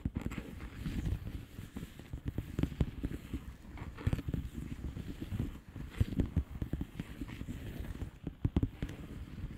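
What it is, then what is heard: Plastic bubble wrap envelope. Long polished fingernails tap and scratch a flat blue plastic bubble wrap envelope. Quick, soft, dull taps overlap with brushing scratches, mostly low and muffled with almost no brightness. The tapping forms a steady, close-up patter throughout.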